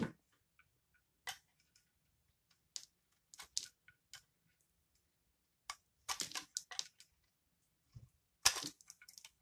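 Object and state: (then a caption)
Bar of laundry soap being shaved. A utility knife blade shaves and scrapes curls off one end of a solid, rectangular, palm-sized bar of yellow-brown Aist household laundry soap held in one hand. About 13 short, dry, crunchy scrapes and cuts are heard, bright and crisp with almost no low end. Each stops quickly, leaving near-silence between strokes.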